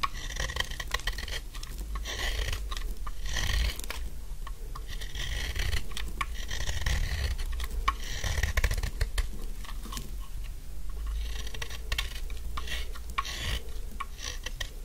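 A solid pink dry soap bar, now narrowed, has its edges shaved with a metal utility blade in short scraping strokes. Quick, dry, crisp scrapes and shaving crackles repeat steadily over a soft low rumble, each stroke brief and without ring.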